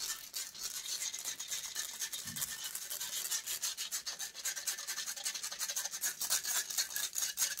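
Long acrylic nails scratch and rub the metal wire-mesh grille of a silver USB microphone. The result is a continuous, fast, uneven stream of bright, hissy scrapes at roughly four strokes per second, with almost no low end.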